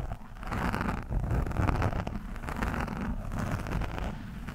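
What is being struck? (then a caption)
Foam microphone windscreen scratched with a steel screwdriver shaft. The thin steel shaft of a screwdriver scratches and pokes a soft, porous orange foam windscreen on a microphone. It makes a continuous, muffled, rustling scrape that is heavy in low rumble, with irregular swells of scratching and little bright content.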